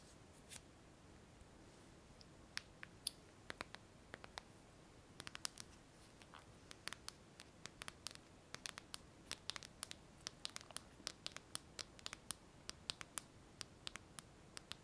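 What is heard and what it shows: A hand-sized smartphone with a glass screen in a clear plastic case is held in both hands and tapped and scratched with long fingernails. Dozens of quiet, sharp, bright clicks and light scratches land in irregular bursts over a faint steady hiss, each dying away almost instantly.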